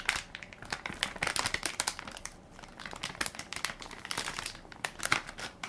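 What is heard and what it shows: Fingertips and nails press and crinkle the plastic film of a hand-sized Equate baby wipes soft pack, full of wipes and held in one palm. Dense, bright crinkling comes in quick bursts of sharp crackles with almost no low end. The sound pauses briefly near the middle before building again.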